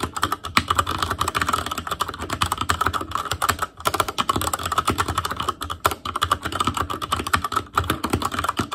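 An ASUS ROG Claymore Core mechanical keyboard with Cherry MX Red switches, black plastic keycaps on a metal frame, and a hollow housing with RGB backlight is typed on continuously with the fingertips of both hands. Rapid, overlapping plastic clacks form a steady stream, with a clicky tone around 1.1 kHz and only a couple of brief pauses. Each keystroke is short and dry, dying away almost at once.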